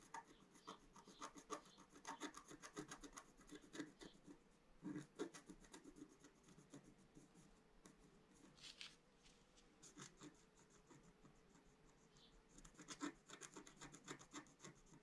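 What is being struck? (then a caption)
Scratch-art paper sheet scratched with a wooden stylus. A flat, black-coated scratch-art sheet over rainbow foil, about A4 size, lies on a table and is scratched with a pointed wooden stylus held in the fingers. Dense, dry rasping strokes come in bursts with short pauses between them, with a faint hum underneath. The scratching is bright and gritty, louder around 5 and 13 seconds.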